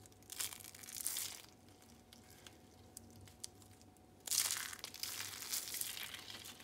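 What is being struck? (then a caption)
Dried soap curls. Pink and blue rolled dried soap curls, brittle and hollow, are grabbed and crushed in the hand into flakes on a striped mat. Bright, dry crunching and crackling comes in two louder bursts, with scattered sharp snaps in the quieter stretch between them. The crushing leaves the curls in flakes.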